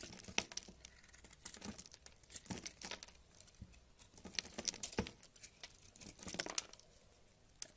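A solid tan bar of soap held in the hand is carved with a purple metal knife, flakes crumbling off as the blade cuts and scrapes. The sound is a quiet, dense run of crisp, bright crackles and scratchy tearing-like crunches in quick irregular bursts.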